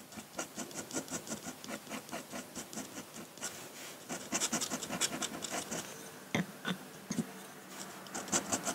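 A metal dip-pen nib scratches across a large flat sheet of white drawing paper, hatching dense ink lines. Rapid, bright, rasping strokes repeat steadily, growing slightly louder midway, and a few sharper, crisper scrapes stand out near the end.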